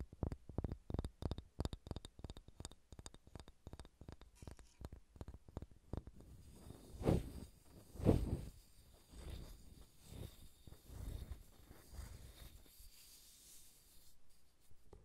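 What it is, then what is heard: Wooden ball. Long red-painted nails scratch and rub a large, solid, unfinished wooden sphere held in both hands. For the first six seconds there are rapid, dry, clicky scratch strokes. These give way to softer, continuous rubbing with two louder swells, all quiet and heavy in the low end.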